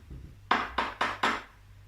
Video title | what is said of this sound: Let's learn STEM and about our world with Sarura Kids | So Mummy's Vaseline bottle has a funny sound because it sounds like metal.